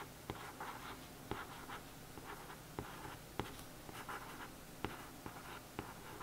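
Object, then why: Glossy cardboard book cover. Soft, dry scratching strokes over a glossy cardboard book cover, broken by a few sharp little ticks.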